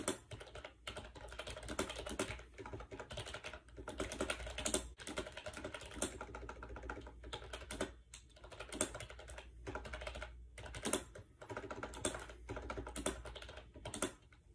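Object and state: Plastic keyboard typing.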